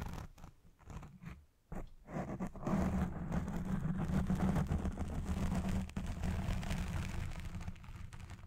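Fingertips and long nails scratch the black foam windscreen on a Blue Yeti Pro microphone while it records. A few faint, broken scrapes build into loud, continuous, dense scratching and rustling that sounds muffled and heavy in the low end, with a brief break near the six-second mark before it carries on.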